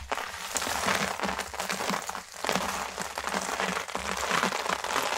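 Bare hands with long manicured nails scoop, rub and stir a large pile of small, thin, dry yellow and green soap shavings, then press fingertips into the brittle pieces. A dense, steady crunching and crinkling fills the clip, bright and crackly with little low end, swelling and easing slightly as the hands move through the pile.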